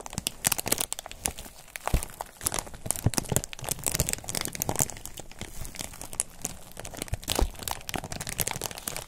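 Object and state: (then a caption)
Foam wrap sheet. A thin white textured foam wrap sheet is held in both hands while the thumbs press, rub and crinkle it. The result is a steady stream of dry crinkling with sharp, bright crackles and soft low rustle beneath, each snap dying away almost instantly.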